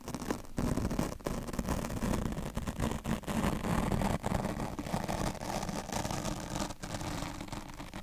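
A steel double-edge razor blade held in the fingertips scratches and scrapes along the side of a medium-sized, soft, porous black open-cell foam windscreen over a microphone capsule. The result is a steady, dense, crackling rasp with heavy low rumble and a faint tone near 238 Hz. It is broken by a few brief dips where the blade lifts or changes stroke.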